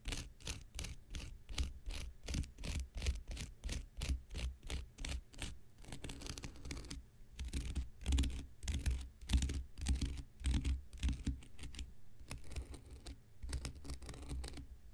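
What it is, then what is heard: Dry cellulose sponge scratched with a knife tip. The blade tip of a metal X-Acto knife scratches and scrapes the surface of a hand-sized, rectangular, porous blue cellulose kitchen sponge that is soft and dry and held in one hand. Quick, rough, crackly scraping strokes come in an uneven rhythm, distinct at first and then blurring into denser runs of scratching. Each stroke carries a dull low thud and a bright, gritty rasp that dies away quickly.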